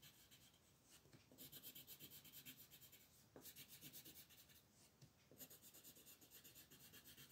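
A light blue wooden colored pencil scratches and rubs across a thin white paper mandala coloring sheet lying flat on a table. Quiet, bright, raspy strokes come in quick back-and-forth bursts, with brief pauses between the runs of shading.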